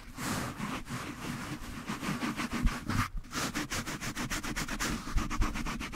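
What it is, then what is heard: Foam microphone windscreen. A small, soft yellow foam windscreen on a black desktop microphone is rubbed and squeezed throughout with the fingertips and palms of both hands. The result is a steady run of close, muffled scratchy rustling strokes with a heavy low rumble and brief brighter hiss on each stroke.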